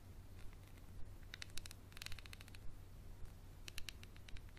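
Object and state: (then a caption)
Textured glass bottle. A small, empty, clear textured glass bottle with a paper label and a dark cap is held in the hand and scratched and tapped with a wooden pencil. Quick, bright, dry clicks and scraping ticks come in clusters over a steady low hum. Each tap dies away almost instantly.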